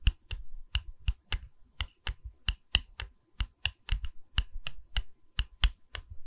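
A wooden pedestal is tapped in an uneven rhythm, giving nineteen short, separate knocks over about six seconds. Each knock is dry and dies away almost at once, with a dull low thud under a bright clicky edge, at a quiet level.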